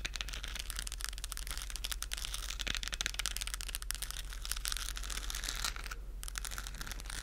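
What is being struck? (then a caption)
Textured plastic globe lamp. A hollow, lit, textured plastic galaxy moon lamp globe is tapped and scratched with long acrylic nails. The result is a dense, continuous run of crisp, crinkly scratching and clicking that reaches into the high range, with a steady low hum underneath. Near the end, the brightness briefly drops away.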